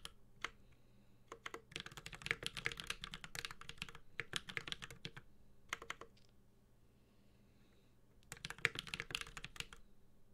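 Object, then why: Mechanical keyboard with aluminum case and plastic keycaps. A Space65 Cybervoyager 65% mechanical keyboard with an aluminum case, plastic keycaps and Holy Panda switches is typed on with the fingertips of both hands. A few scattered taps lead into bursts of rapid, bright, clicky keystrokes with very short decay. A brief quiet pause follows before a final flurry of typing.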